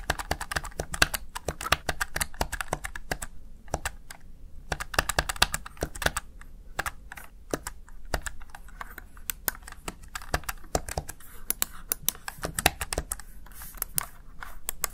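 A small, hollow, backlit plastic Razer Tartarus Chroma gaming keypad has its keys pressed rapidly with fingertips and long nails. The result is a steady stream of crisp, bright plastic clicks and taps that die away almost instantly, over a soft low rumble, with brief lulls around four and seven seconds.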